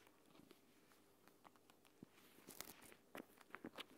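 A palm-sized plastic gel bead eye mask, a flat clear plastic pouch filled with green water-gel beads, lies on a woven mat while fingertips and long painted nails tap and scratch it, then both hands pick it up, fold it and squeeze it. Soft, quiet taps and scratches give way to sharper, bright crinkling crackles and squishy clicks as the pouch is handled.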